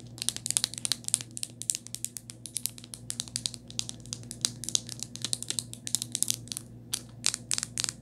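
Long nails tap quickly on the back of a rose-gold hard plastic phone case with a ring holder. Dozens of crisp, bright clicks follow in rapid, uneven bursts, each dying out almost instantly. A faint low steady hum sits underneath.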